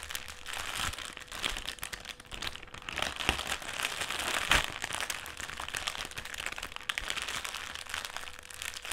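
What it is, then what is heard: Metallised plastic crisp packet. A folded black foil-lined metallised plastic crisp packet is pressed and scratched on a table, then picked up and crumpled in the hands. Dense, bright crinkling and crackling runs almost continuously, with sharper crunches standing out. A faint steady hum sits underneath.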